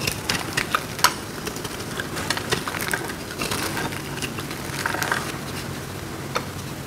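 A metal blade carves and crumbles a hand-sized solid block of dry blue-green marbled soap held in the hands, leaving crunchy flakes. A steady, dry crackling scrape runs throughout, broken by sharp, bright crunches and snaps.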